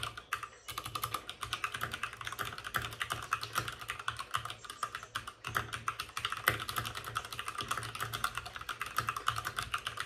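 A white full-size plastic mechanical keyboard with plastic keycaps and RGB backlighting sits on a desk with a padded wrist rest while both hands type rapidly with short-nailed fingertips. Dense, crisp clacks with bright tops and a midrange body around 1.4 kHz run almost continuously, with brief pauses near the start and midway.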